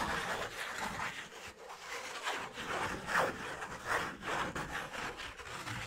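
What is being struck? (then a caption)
Thin cardboard sheet. A thin, flat brown piece of cardboard about a hand-length long, held in the hand, is rubbed and scratched with fingertips and nails. The result is a steady dry scraping and rustling with a midrange emphasis and a bright edge, rising and falling with each stroke.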